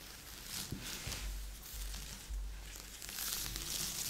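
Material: Cardboard.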